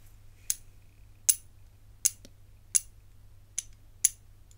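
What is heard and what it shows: A rigid, hollow, hinged bangle with black enamel segments and gold-coloured metal bands is held in one hand and tapped and rubbed with the fingertips and nails. Six sharp, bright clicks ring out at a steady pace, each dying away almost instantly over a faint low hum.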